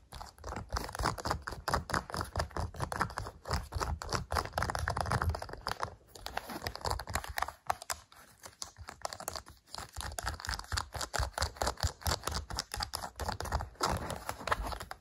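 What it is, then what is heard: Plastic TV remote control tapped. Fingertips and nails rapidly tap and press the rubber buttons of a hollow, hand-sized black plastic LG TV remote resting on a sofa. The sound is a dense stream of short, dry clicks and soft thumps with a mid-range tone and a low body, with brief pauses around 6 seconds and between about 7.5 and 9.5 seconds.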